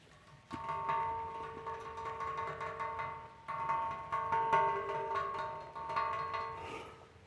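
A small metal statue of a diver is tapped repeatedly, giving knock-like percussive taps. Each tap brings out bright, sustained ringing tones around 900 Hz to 1 kHz that hang for about a second and overlap between strikes.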